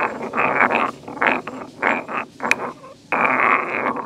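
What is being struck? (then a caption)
Stone mortar and pestle. A solid stone pestle is lifted and pounded, then ground by hand in a hollow, medium grey carved stone mortar. It makes gritty scraping bursts in the midrange, with a sharp bright click partway through and a sustained grinding stretch at the end.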